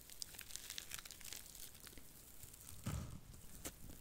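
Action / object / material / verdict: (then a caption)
scrape / cellulose sponge / cellulose / none. A small, porous, dry blue cellulose sponge is bent and scratched with long nails close to the mic. It gives a steady stream of bright, dry crinkling and crackling, and a louder, deeper crunch lands near the three-second mark. The crinkling then continues quietly.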